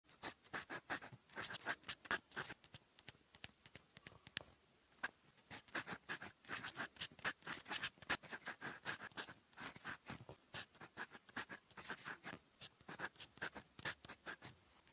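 A gold metal fountain pen nib, held in the fingers, writes Korean on a cream lined notebook page lying flat on a desk. Quiet, bright, dry scratches come in quick, short strokes and bursts, with a brief pause near the middle. The nib's scratch across the paper runs on almost continuously.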